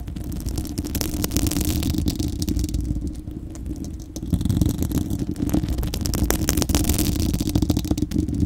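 Long acrylic nails on both hands scratch across a bare, hollow, fist-sized spherical steel wire-mesh microphone grille. The result is a dense, rumbling, low-heavy scratching with rapid crackly ticks and rattles. It eases briefly in the middle, then returns louder and busier.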